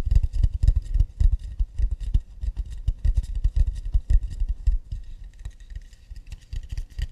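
Fingers tap and scratch quickly on an acacia wood plate. The result is a dense, uneven run of short, dull, low knocks with almost no ring, over a faint, bright scratchy texture. The tapping is loudest early on and grows softer and sparser toward the end.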